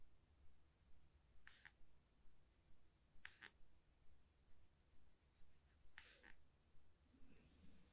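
A fine paintbrush held by hand brushes short strokes over a thick, textured watercolor paper sheet lying solid and flat on a table. Soft, quiet rubbing swishes repeat at a fairly steady pace of about two per second over a low background hum. A few strokes stand out as brief, bright, crisp scratches.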